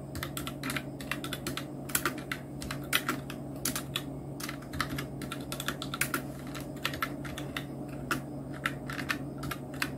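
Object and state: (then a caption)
Plastic mechanical keyboard. Fingertips of both hands type on a full-size black Nubwo Illusion NK-70 mechanical keyboard with Outemu red switches, round plastic typewriter-style keycaps and blue backlight. Rapid, uneven bright plastic clicks and clacks come in quick bursts over a steady low hum.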